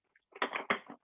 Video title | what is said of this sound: Developmental Toys & Activities for Children Who are Blind or Visually Impaired - Amber Bobnar | That makes a lovely sound, as I'm sure you can hear, as it's going in and out of the container.